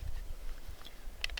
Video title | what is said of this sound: Bush Craft Ninja?!?! Cold Steel Kobun | the sheath does make some noise. You can hear that has a little rattle